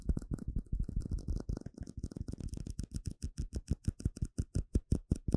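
A small, hollow, empty clear plastic cup is tapped quickly with fingertips and nails. The result is a rapid run of short, dull, hollow taps, dense and overlapping at first, then settling into evenly spaced individual knocks. Each has a low body, a bright clicky edge from the nails, and very little ring.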